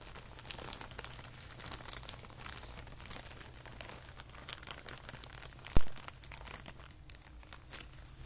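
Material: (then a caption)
Plastic. A thin clear plastic packaging bag with a label and white insert is flattened and rolled up by both hands on carpet. Its dense crinkling crackles across the whole clip over a steady low hum, with one sharp, louder snap near the end.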